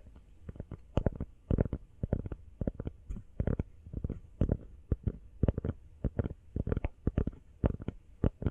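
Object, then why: Rubber phone case. A small, hollow, empty teal rubber phone case is held sideways and tapped fast with long fingernails. The taps come as quick, uneven bursts of short, dull, muffled knocks, mostly low and thumpy, each dying away almost instantly.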